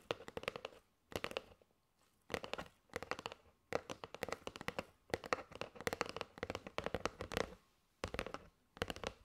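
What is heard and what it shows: Long nails tap quickly on the surface and edge of a kraft cardboard box with a plastic window, full of paper straws. Rapid dry, clicky taps come in short bursts separated by brief pauses, with a hollow resonance around 500 Hz. Each tap dies away almost instantly.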